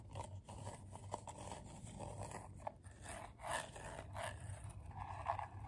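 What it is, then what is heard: Coiled paper bowl scratched with nails. Short nails scratch the ridged outer side and rim area of a medium, hollow, empty bowl made of coiled colorful paper. Quiet, dry, papery scratching comes in uneven strokes with a soft mid-range rasp over a faint low hum. A few brief ticks stand out where the nails catch the ridges.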